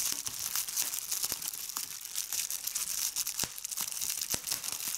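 Fingertips with red nails squeeze clear plastic bubble wrap with large bubbles held in the hand, popping the bubbles. Bright, steady crinkling runs throughout, broken by sharp, short pops that die away almost instantly.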